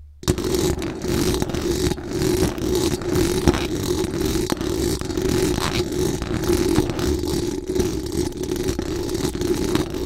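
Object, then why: Metal mesh microphone grille. Very long acrylic nails scratch fast and aggressively over the hollow metal mesh dome grille of a large, bare condenser microphone. The result is a dense, continuous rasping scrape with a steady hum-like tone around 360 Hz and a heavy low-end rumble. It stays at a fairly even level for the whole clip.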